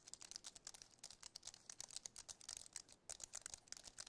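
Fingertips and nails rapidly tap and press the plastic keys of a compact white wireless keyboard with an aluminum frame. The result is a quiet, uneven stream of sharp, bright clicks and taps with almost no low end and no ring after each hit.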